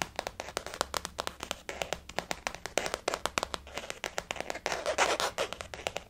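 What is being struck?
Faux leather zip-around wallet.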